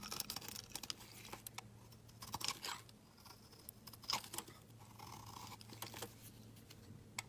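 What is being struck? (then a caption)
Bar of soap shaved with a blade. A hand-held solid pink embossed soap bar is shaved into curls with a steel snap-off utility blade. Quiet, crisp scraping and crackly shaving strokes come in short bright bursts, with a faint steady low hum underneath.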